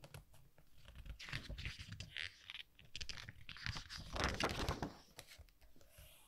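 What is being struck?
Softcover book with glossy paper pages.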